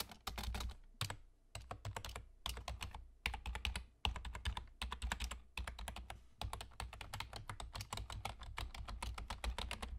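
Fingertips of both hands type rapidly on the hollow key caps of a black plastic external gaming keyboard with a German layout. Bursts of quick, bright clacks ride over a low, thuddy body, separated by short pauses.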